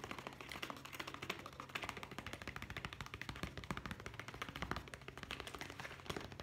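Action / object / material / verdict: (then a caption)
tap / leather zippered pouch / leather / none. Fingertips tap rapidly along the side of a hollow brown leather zippered pouch held up close. The result is a dense, continuous stream of quick, dry, bright taps, with a steady low hum underneath.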